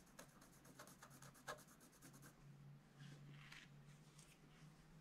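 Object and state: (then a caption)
Scratch-art paper page. A pointed wooden stylus scratches and rubs across a black-coated scratch-art page in a spiral book lying flat on a table. Quick, dry scratching strokes come first, with one sharper scrape standing out, then give way to softer, longer rubbing sounds. A steady low hum runs underneath throughout.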